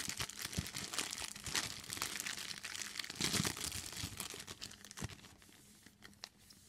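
Hands with long green nails crumple and squeeze a large, thin, clear plastic bag that is empty and hollow. It makes a dense, bright crinkling with rapid irregular crackles, peaking around the middle. The crinkling then thins out and grows quieter toward the end.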